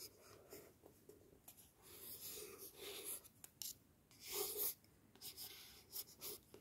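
The tip of a thin wooden stick taps and scratches across the front of a yellow paperback book with a glossy paper cover, held in one hand. Quiet, bright, hissy scratching strokes mix with short, light taps, rising and falling in brief bursts.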